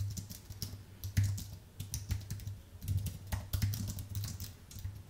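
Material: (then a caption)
Aluminium, plastic. Fingertips of both hands type steadily on a thin, white, full-size Apple keyboard with a solid aluminium base and plastic keys. A quick run of soft, bright clicks and taps rises and falls in loudness, over a steady low hum.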